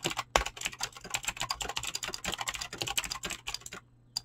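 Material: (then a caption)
Plastic. Fast, continuous typing on a full-size mechanical keyboard with Razer clicky green switches and dyed PBT plastic keycaps, resting on a desk and struck with fingertips and short nails. Sharp, bright clicks come in rapid overlapping bursts, with a steady low hum beneath. The typing stops just before the end, followed by one last keystroke.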